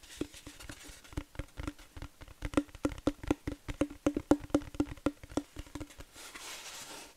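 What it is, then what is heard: Wooden plaque. Long nails tap quickly on a flat wooden plaque sign, producing a run of short, dry knocks with a faint hollow tone. The taps come in an uneven rhythm and die away almost instantly. The last second fades into soft, bright hiss.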